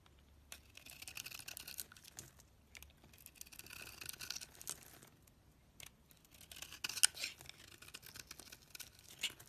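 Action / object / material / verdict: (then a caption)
scrape / bar of soap cut with a blade / soap / none. A box cutter blade scrapes a solid, hand-sized oval soap bar with a dark rim and orange inside, carving it into shavings. The quiet, bright, dry scraping comes in bursts of rasping strokes, with short gaps and a few sharper clicks near the end.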